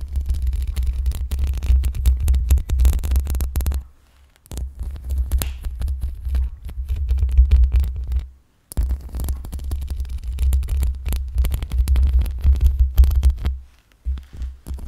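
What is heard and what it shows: Long pink acrylic nails gently scratch the metal mesh grille of a black USB microphone with both hands. The result is a deep, throbbing low rumble near 66 Hz with dense, irregular scratchy crackle on top. The rumble pauses briefly around 4 seconds, again near 8.5 seconds, and once more near the end.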